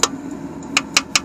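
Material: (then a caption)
Metal. A metal internal part inside an AMC Rambler engine is tapped four times, giving short, bright ticks with almost no ring. The part sounds solid rather than hollow, unlike the previous one.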